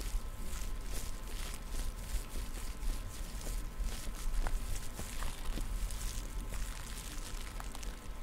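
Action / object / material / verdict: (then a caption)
scrape / plastic headphone headband / plastic / none. Long nails tap and scratch along the sides of the black plastic headband of over-ear headphones. The result is a steady, low, rumbly texture broken by faint bright clicks and scrapes, with a few sharper taps that stand out.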